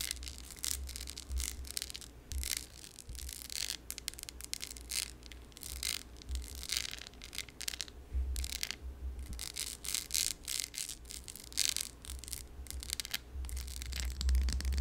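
Long yellow nails tap and scratch a yellow textured glass candle jar that has a metal lid and is filled with wax. Quick, dry, bright scratching bursts repeat throughout, with short taps that stop dead, over a low steady rumble.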